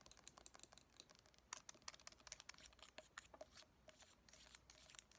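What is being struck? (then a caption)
Small glass jar with lid. Long painted nails tap and scratch a small clear glass jar with a lid and a pale filling inside, held in both hands. Quiet, bright clicks and scratchy rasps come in a rapid, uneven stream, with almost no low end and no ring after each tap.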